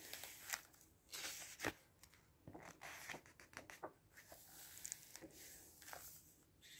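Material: Glossy paper.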